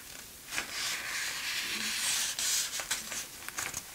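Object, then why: Thin printed paper magazine page. Fingertips pinch, rub and crinkle the edge of a thin printed page as it is turned in an open 1960s German paper magazine lying on a tablecloth. The result is a bright, hissy rustling and crinkling with a few sharper crackles, almost entirely high-pitched with no low end.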